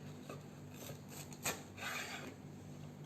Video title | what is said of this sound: Chef Akhil Bharadwaj, Episode 687: #SimpleHomemadeRecipes Facebook Live | you'll hear the sound how crispy it is